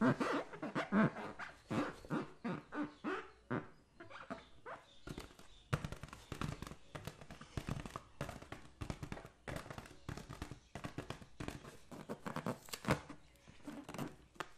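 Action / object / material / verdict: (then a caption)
tap / latex balloon filled with water / latex / none. A green latex balloon filled with liquid is tapped and rubbed with the fingertips while resting on a lap. The result is a quick, irregular run of soft, dull thumps and squishy rubbing, each dying away almost at once, with a low body and little high-end brightness.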